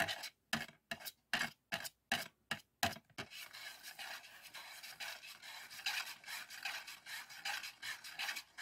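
Fingertips and nails rub and scratch across a thin, flat, printed polycarbonate DVD disc sitting in an open black plastic DVD case. A run of short, separate bright scratching strokes comes first, then gives way to a continuous, uneven raspy rubbing that stays mostly in the upper-mid and high range with almost no low end.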